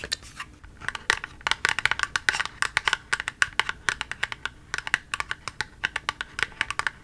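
Long nails rapidly tap and scratch the surface of a small, hollow, pink printed ColourPop cardboard cosmetic box held in both hands. The result is a fast, irregular stream of short, dry, clicky taps with a bright, papery edge and a light scratching texture, each tap dying away almost instantly.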